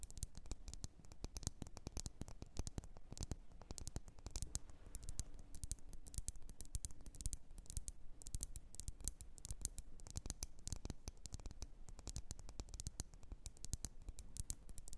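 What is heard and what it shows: Long nails rapidly tap and scratch the glass sides of a lit red glass candle jar filled with wax. The result is a steady, dense stream of short, dry clicks and scrapes, with no ring after each hit.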